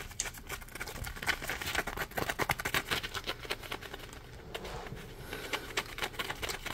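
Fingertips scratch the ridged edge of a palm-sized, solid yellow polymer foam Scrub Daddy sponge. The result is quick, irregular, dry scratchy bursts, about four per second, with a bright, hissy texture and very short decay.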